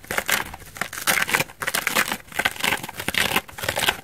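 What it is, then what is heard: Foam bath sponge. A hand-sized dry elliptical foam bath sponge, white bubbly foam on one side with an orange backing, is held in both hands and scratched and rubbed with long dark nails. The result is a steady run of dry, bright scratching and crinkling bursts that rise and fall in waves, with almost no low end and each sound dying out at once.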